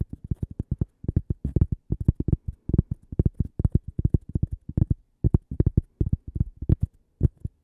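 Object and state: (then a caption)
Cork coaster. A small, solid, flat toast-shaped cork coaster with a logo is held beside a microphone and tapped and scratched with long purple-painted nails and fingertips. Dozens of quick, dull, low thumps come in uneven bursts, each dying away almost instantly with no ring. A few brief pauses break the otherwise steady run of soft, muffled taps.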